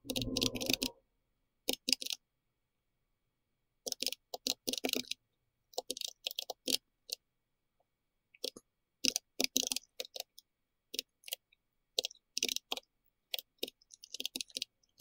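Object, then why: Plastic mechanical keyboard with round keycaps. A pink-red compact plastic mechanical keyboard with round plastic keycaps is typed on steadily with the fingertips of both hands. Bursts of bright, clicky keystrokes come in short runs separated by pauses. The keystrokes stop dead with almost no ring and very little low end.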